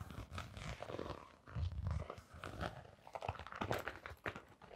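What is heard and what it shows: A blue glitter fabric canvas sneaker with a rubber sole is turned in the hands while long nails scratch along its sole and side. The result is a run of dry, close scratching and rasping strokes over soft, low handling thumps and rustles, rising and falling in short bursts.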